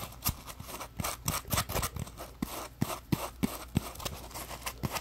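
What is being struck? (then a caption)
Polymer foam scrub sponge. Fingertips rub and scratch along the rough surface of a palm-sized, solid, yellow textured polymer foam scrub sponge, a Scrub Daddy puppy. An irregular series of dry, scratchy strokes is heard, each with a brief, soft, low thump under a bright rasping hiss. The strokes stop quickly, with almost no ring between them.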